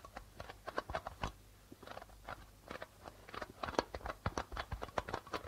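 Fingertips and nails tap rapidly on the white plastic membrane of a hollow darbuka drum. The result is a quick, uneven run of short, dry taps with a mid-range knock around 500 Hz that dies almost instantly. A faint, steady low hum sits underneath.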